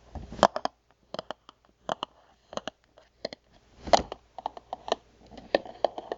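Long nails tap and scratch the face of a hollow, printed cardboard box of water crackers standing on its long side, with its contents out of sight. Quick, dry, papery taps come in uneven bursts, separated by short silences and mixed with brief scratchy rasps. Each tap stops almost instantly, leaving no ring.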